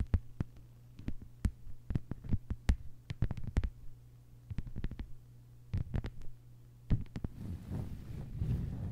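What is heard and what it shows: Long white-polished nails of both hands tap quickly on a thin, solid lime-green plastic cutting mat lying flat on a table. The taps are short, sharp clicks over a steady low hum, with bursts and brief pauses between them. Near the end they blur into a denser, continuous low rustle.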